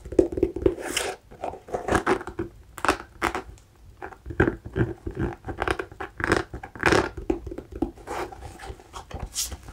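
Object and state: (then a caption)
Hiking boot rubber sole scratched. Fingernails scratch across the lugged rubber outsole and beige midsole edge of an empty new hiking boot turned sole-up. The result is a quick series of short, dry, rasping scratches with a mid-range body and bright, crisp edges that stop almost instantly.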